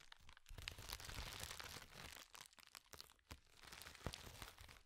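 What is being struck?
Plastic bubble wrap sheet.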